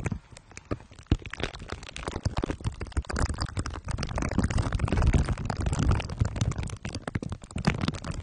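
Glue stick tips are dabbed and rubbed on the sides and top of a microphone head wrapped in crumpled aluminium foil under clear plastic wrap. Dense, rapid sticky crackles and crinkly clicks run throughout over a heavy, muffled low-end rumble.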